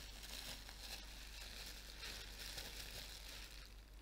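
A large sheet of clear plastic bubble wrap, held up in front of the face, is crumpled and rubbed with the fingers, giving a steady, bright crinkling and crackling that runs without a break. A constant low hum sits underneath throughout.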